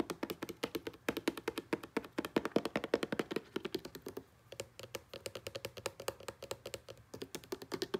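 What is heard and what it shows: Fingertips and nails tap quickly on the body and green label of a hollow blue plastic Selsun Blue shampoo bottle lying on a grey blanket. The result is a rapid stream of dozens of short, dry, hollow clicks with a low-mid tonal knock, interrupted by a brief pause about halfway through.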